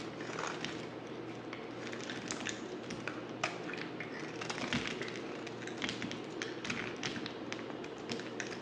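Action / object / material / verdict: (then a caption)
scrape / bar of soap scraped with a knife blade / soap / none. A utility knife blade scrapes a solid, dry, black oval bar of soap held in the hand. Many crisp, bright scraping and crackling ticks follow one another over a steady, low background hum.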